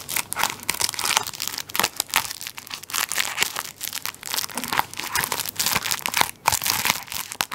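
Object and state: Plastic-wrapped tissue roll.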